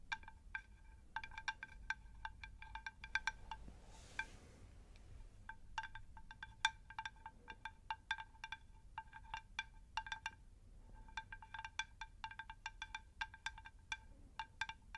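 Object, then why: Unglazed terracotta plant saucer. A round, shallow, unglazed terracotta plant saucer is tapped with long nails in quick, uneven bursts throughout. Each tap gives a short, bright, chime-like click with a clear ring near 890 Hz and high overtones that fade almost instantly. A soft breathy hiss rises briefly near the 4-second mark over a faint low background rumble.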